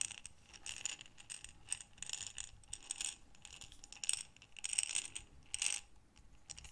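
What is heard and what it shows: A small clear glass jar with a gold metal screw lid, full of assorted small buttons, is held in both hands with long dark nails, then tilted and shaken. The buttons rattle in short bursts of bright, crisp clicks with almost no low end. Each burst dies away quickly between shakes.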